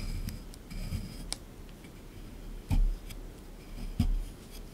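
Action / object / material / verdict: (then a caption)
scrape / plaster block in a tray / plaster / none. A small chisel tool scrapes and picks at a solid plaster excavation block sitting in a tray. Soft, gritty scraping runs throughout, broken by a few dull low knocks and short bright ticks as the tool digs in.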